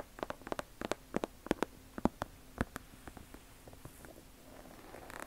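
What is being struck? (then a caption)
Leather sneaker. Long nails tap and scratch the leather upper and sole edge of an Air Jordan 1 leather sneaker held sole-side toward the camera. A quick, irregular series of sharp, dry clicks with a low hollow tone dies away almost instantly. The taps thin out later and give way to a soft scratchy hiss that rises at the end.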